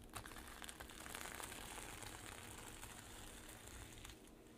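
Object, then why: Sequin-covered fabric pouch. Long acrylic nails scratch and brush back and forth across the reversible sequins covering a flat zippered pouch. The result is a dense, continuous crinkly rustle with bright, high clicking and a low undertone, fading slightly at the end.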